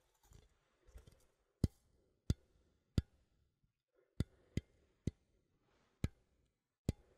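A small cylindrical metal coffee tin with a printed label is held in one hand while fingernails tap its side. After a few soft scratchy brushes, eight sharp, separate taps ring out as dull, low clicks that die away almost instantly.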